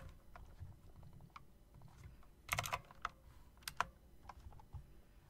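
Fingers tap the keys and the long spacebar of a typewriter-style mechanical keyboard with round plastic keycaps and metal rims. Short, sharp clicks come in an uneven rhythm, with a tight cluster of louder clacks in the middle and a few bright, crisp strikes near the end, over a low background hum.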